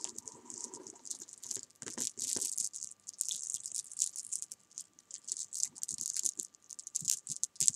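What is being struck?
Small jelly bean candies handled on fabric.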